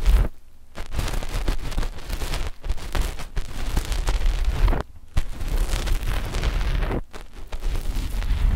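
Long fingernails of both index fingers scratch a flat, dark knit fabric sheet covering a binaural microphone setup with left and right mics. The result is a dense, continuous, low, rumbling scratching with brief quiet pauses between bursts.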